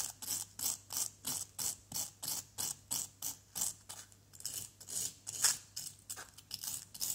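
A flat white plastic scraper is drawn in sawing strokes across a solid, pitted yellow plaster dig-kit block. It makes a rhythmic series of short, dry, bright scrapes, evenly spaced at first, then looser and more smeared toward the end, with almost no low end.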